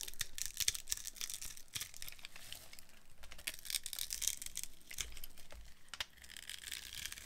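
A metal blade carves a dry, solid, translucent yellow glycerin soap bar with a grid-scored surface, breaking off crunchy crumbs. Dense, crisp scraping and crackling crunches fill the clip with bright hiss, soft low thumps, and no ringing between cuts.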